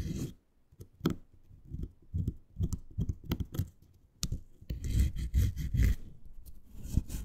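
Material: Faux suede.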